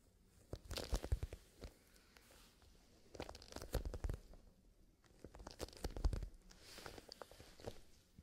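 A small black leather zippered pencil case filled with colored pencils is held flat in both hands and squeezed and rubbed with fingerless-gloved fingertips, with the fingers moving toward the zipper at the end. Quiet, soft crunching and creaking rustles come in three loose bursts of short, dry crackles with a low, muffled body and brief bright ticks.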